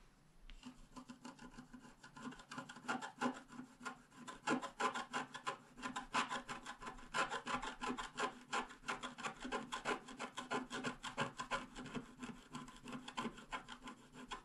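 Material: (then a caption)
Coated paper. A wooden stylus scratches short strokes into a flat black, wax-coated scratch art card, etching the lower flowers and the grass. A steady run of quick, dry, raspy scratches, about three per second, rises and falls in loudness with a bright edge. There is almost no low end and no lingering ring.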